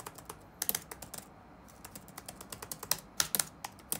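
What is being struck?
Plastic laptop keyboard.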